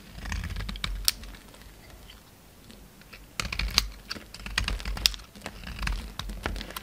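A utility knife blade shaves crumbly flakes off a solid white bar of soap with black coating remnants, held in the hand. Crisp, dry scraping and crackling bursts with bright clicks come first, then a quiet lull, then a denser run of cuts to the end.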